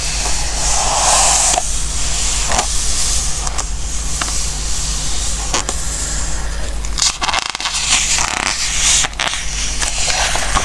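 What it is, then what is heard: Glossy paper book pages. Fingertips and a palm rub across the coated pages of an open glossy-paper book resting on a wooden table, and one page is lifted. Steady, bright rubbing and soft crackling textures run over a constant low hum, broken by several short, sharp page-handling ticks.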